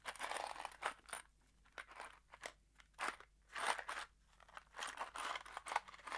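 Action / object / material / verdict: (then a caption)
shake / small cardboard box with metal screws inside / cardboard, steel / none. A small kraft cardboard box holding screws is held in the fingers and shaken, so the screws rattle inside. Quiet bursts of dry, crunchy rattling and clicking come in short irregular clusters, separated by brief near-silent pauses. The sound is bright and papery, with no low rumble.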